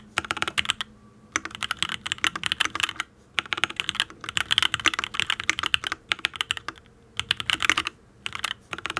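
Fingertips type on a full-size custom Matrix Ablex Penpen mechanical keyboard with an aluminium case, ABS keycaps and Tealios V2 linear switches. Rapid bursts of bright, crisp key clacks with very short decay come in several runs separated by brief pauses.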